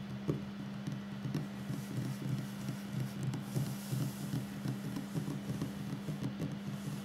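Fingertips and short nails of both hands tap on a solid wooden tabletop. Quick, uneven, dull taps with a low thud and almost no ring sound over a steady low hum.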